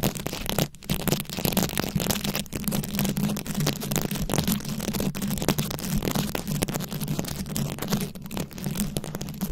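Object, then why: Microphone head covered in plastic rhinestones and beads. Very long acrylic nails scratch a fist-sized round microphone head covered in plastic rhinestones and beads. The result is a dense, continuous crackle of tiny clicks and rasps spreading up into bright highs, over a steady low hum near 200 Hz. It holds at an even level throughout, with only a brief dip early on.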